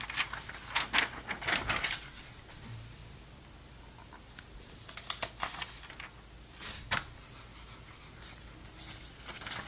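Fingertips rub and pat the surface of an open glossy paper Sports Illustrated magazine from November 2002, lying flat, then turn a page. Bright, crisp rustles and soft taps arrive in short bursts separated by quiet stretches, with a sharper crinkle as the page turns.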